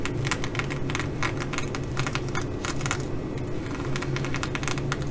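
Long nails scratch and tap across the sequins of a blue reversible flip-sequin fabric bag, making a dense run of quick, bright clicks and crisp scratching. A steady low hum sits underneath at an even level throughout.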